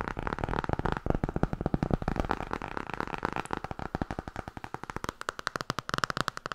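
Rapid tapping on the hardcover of the book 'Tarot'. A fast stream of short, dry, muffled taps runs throughout, dense and overlapping at first, then spacing out into distinct clicks toward the end.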